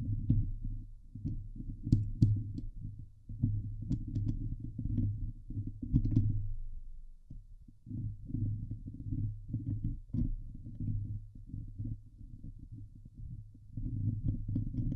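Fingertips and nails scratch the hollow steel mesh dome grille of a Blue Yeti microphone. The result is a dense, low rumbling scrape in bursts of rapid strokes, with faint bright ticks from the nails and a brief pause near the middle.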